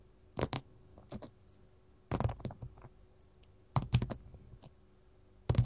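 Metal finger rings tap on a gold mat, making short, dry clicks in four quick clusters. Each cluster has a low thump under a bright, crisp edge, and the taps die away almost at once against a quiet background.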